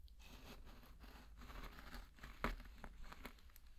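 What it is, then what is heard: Pearl barley grains being stirred. A flat wooden spatula pushes and stirs through a large loose bed of dry pearl barley grains, making a soft, continuous grainy rustle and crunch over a low background rumble. The grains scratch and rub in uneven surges, with one louder, sharper scrape about two-thirds of the way through before the stirring settles back to a quiet crackle.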